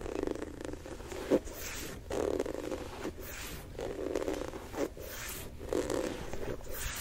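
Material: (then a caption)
Rubber. Nails and fingertips tap and scratch the textured black rubber outsole, with its Jumpman logo, and the midsole of a single Jordan 4 'Thunder' sneaker turned toward the mic. Soft, rasping scratch bursts with a warm midrange body come in waves, broken by a few sharper, brief taps that die away almost instantly.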